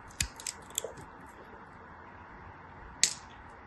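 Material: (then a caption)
Soap. A small, solid, translucent pink glycerin soap piece, held in fingers with long white nails, is shaved with a black craft knife blade. Five short, crisp, bright cuts are heard: four quick ones in the first second, then a louder one after a pause, each with almost no ring, over a faint steady hiss.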